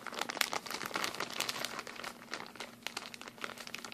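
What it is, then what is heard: Plastic packaging bag crinkled. A thin, hand-sized, clear and blue printed plastic bag of empty product packaging is held in both hands and crumpled and crinkled with the fingers. It makes a continuous stream of bright, dense crackles with sharp snaps that die away almost instantly, over a faint steady low hum.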